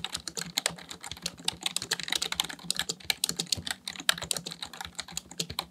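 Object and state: Plastic computer keyboard.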